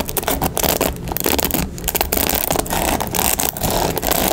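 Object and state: Plastic paddle hairbrush.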